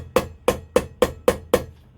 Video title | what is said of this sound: Hayabusa - Front Wheel Bearing Replacement (How To) | keep that square you'll feel also that will go solid as well